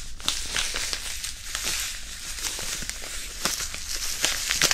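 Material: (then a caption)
Non-woven fabric. A small white printed disposable hand warmer, a non-woven fabric pouch filled with iron powder, is rubbed and crinkled with the fingers close to the mic. It makes a steady, bright, papery rustle with sharp, high crackles popping out throughout.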